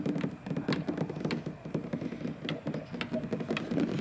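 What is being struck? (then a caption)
Molded plastic playground slide. Fingertips with short white-painted nails tap and scratch along the large, glossy red molded plastic surface of a hollow-shelled playground slide. The result is a quick, steady patter of dull, hollow taps centered low around 220 Hz, with faint bright scratchy clicks on top, and each tap dies away almost instantly.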